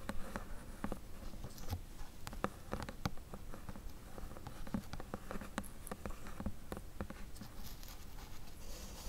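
Long acrylic nails tap and scratch along the edges and bottom of a flat, closed, medium-sized corrugated cardboard box held in both hands. Quick, light clicks are scattered over a soft, continuous scratchy rustle, with a dull, hollow low-end thump beneath. Each tap dies away almost instantly.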